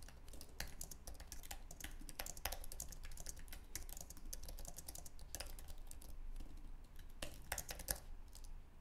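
Fingertips type rapidly on a white, low-profile Apple Magic Keyboard with an aluminum base and plastic keys. The result is a fast, steady stream of short, dry, bright key clicks over a constant low hum.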